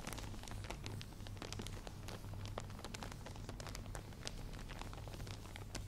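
A wide padded headband fully covered in small plastic faux pearl beads is held up in one hand while long manicured nails scratch and tap across the beaded surface. Quick, bright clicks and scratchy rustles fall densely throughout, over a steady low hum near 100 Hz.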